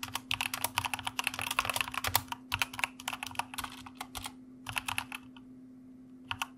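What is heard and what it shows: Two hands type continuously with their fingertips on the keycaps of a white plastic mechanical keyboard resting on a desk. Quick, bright, clicky keystrokes come in rapid bursts with brief pauses, each one dying away almost instantly. A steady low hum runs underneath throughout.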